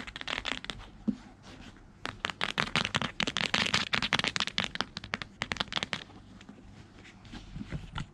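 Fingertips with long red-painted nails tap and scratch the brown leather or leatherette cover and spine of a thick, solid hardcover Holy Bible lying on white bed sheets. Quick, bright, irregular clicks and scratchy bursts come in dense clusters, with softer rustling scratches in the pauses between them.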